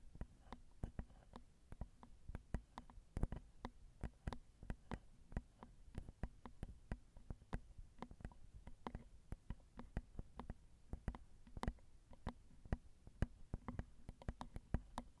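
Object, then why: Metal microphone capsules on a handheld recorder. Long acrylic nails tap on the crossed metal X/Y microphone capsules of a Zoom recorder, making a steady run of short, dry clicks. The taps land irregularly, some harder than others. Each one has a low thump under a quick bright tick, over a faint low hum.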